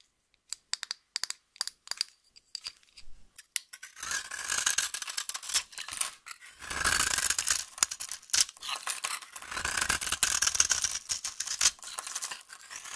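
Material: Soap.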